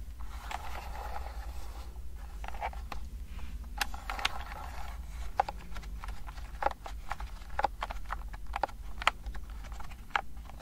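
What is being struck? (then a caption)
Plastic keyboard with round keys. Long painted nails tap and click on the round typewriter-style keys of a pastel-colored plastic wireless keyboard with a hollow body, held up in both hands. Quick, bright, hollow clicks come in irregular bursts, with light scratchy scraping between them over a steady low hum.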